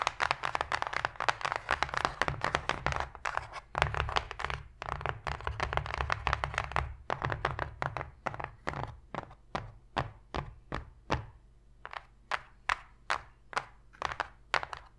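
Long fingernail tips tap repeatedly on the flat bottom of an empty, open white cardboard box tray, giving hollow, dry clicks with almost no ring. For roughly the first seven seconds the taps come fast and dense, then they slow into distinct, evenly spaced single taps over a steady low hum.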